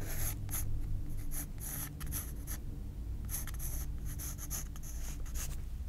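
A graphite pencil held in the fingers scratches light sketch lines across a white paper page of a spiral-bound sketchbook resting on a table. Short bursts of bright, dry scratching come and go over a steady low hum, sketching light lines onto the page.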